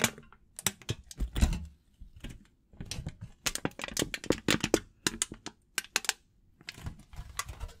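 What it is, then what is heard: Aluminum foil. A crumpled sheet of aluminum foil, held in both hands, is crinkled with the fingers close to the microphone. It makes bursts of sharp, dry crackles that reach bright highs, separated by short quiet pauses.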